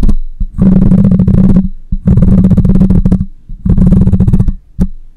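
Long nails scratch across the metal mesh grille of a black microphone, producing three dense bursts of close, rasping scrape separated by short pauses. The sound is heavy and low, with a steady droning hum and a few soft taps between the strokes.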